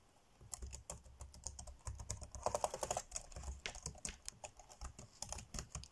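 Fingertips tap quickly on the dark grey plastic chiclet keys of an ASUS laptop keyboard, typing fast. The result is a rapid, uneven run of short, bright plastic clicks with soft low thumps underneath. A denser, louder flurry comes near the middle.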